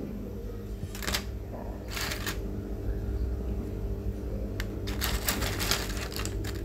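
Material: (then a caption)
Flour dough. Homemade flour papads, red beet and white, sun-dried on a balcony until completely dry and crisp, are handled and knocked together. They give bursts of dry, brittle rattling and clinking over a steady low background hum. The papads are fully dried and crisp.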